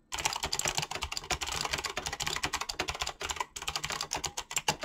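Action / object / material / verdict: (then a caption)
tap / mechanical keyboard with PBT plastic keycaps / plastic / none. Fingertips with short painted nails type fast on a full-size mechanical keyboard with clicky green switches, pink-blue PBT plastic keycaps and a hollow plastic body. A rapid, dense stream of bright, sharp clicks and clacks runs almost without pause, with a brief gap before the last second.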